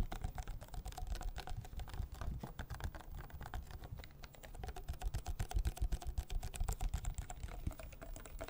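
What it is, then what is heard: Plastic water bottle. Fingertips and nails tap quickly on the sides of a small, hollow, clear plastic water bottle. The taps come in a fast, uneven patter of short, dry clicks over a low, hollow thump, with almost no ring after each one.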